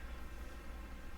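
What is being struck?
Nothing is struck.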